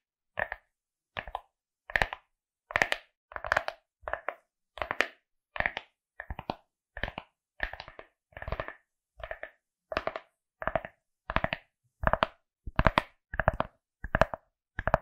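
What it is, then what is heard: Fabric-covered hard glasses case. A pink, felt-like fabric-covered hard glasses case with printed eyes, about hand-sized, rigid and hollow, is held beside the microphone and tapped and scratched with long acrylic nails. About twenty short bursts of dry, crisp clicking and scraping come at an uneven pace with no ringing. Each burst is a quick flurry of nail taps over a low, hollow thud.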